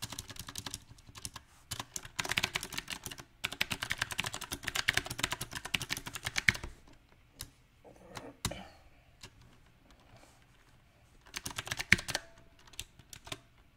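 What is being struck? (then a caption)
Mechanical keyboard with plastic keycaps. Fingertips type on a backlit compact mechanical keyboard with round, typewriter-style plastic keycaps on a silver metal frame. Bursts of bright, sharp clicks come in uneven runs, dense for the first seven seconds, then sparse single taps and a pause before a final quick flurry.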